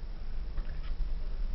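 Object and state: Nothing is struck.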